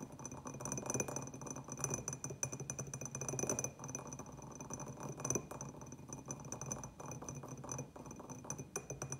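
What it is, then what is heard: Terracotta clay pot tapped with fingernails. Fingernails tap quickly around the rim and sides of a small, hollow terracotta clay pot with a white glazed upper band, empty apart from a little soil residue. The taps come as a dense, rapid patter of short, dry clicks with very little ring. Faint steady high tones hum in the background throughout.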